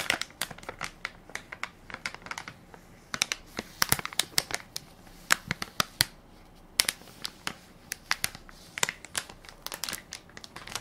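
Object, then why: Soft plastic film wipes pack. A full, soft plastic-film baby wipes pack with a plastic lid is held in one hand while fingertips and nails crinkle and tap its film top. Dense, bright, crisp crackles and sharp taps come in quick irregular bursts over a quiet background, with almost no low end and very short decay.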